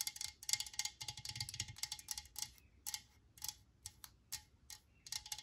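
Long nails tap on a Lysol metal aerosol can resting on a cloth-covered table, mostly striking its plastic cap. The taps come as quick, bright, dry clicks with almost no ring, first in rapid clustered bursts and then spaced further apart.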